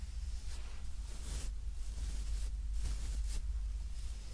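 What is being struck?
Nothing is struck.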